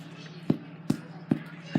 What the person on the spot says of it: when it sounds nice and hollow like that that means that you have a nice Airy crumb on the inside